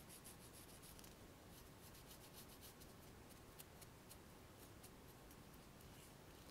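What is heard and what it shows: A few cotton swabs with thin plastic sticks and cotton tips are held in one hand while another swab is rubbed against the cotton tips with the fingertips. The result is a faint, steady rubbing hiss broken by quick, bright scratchy bursts throughout.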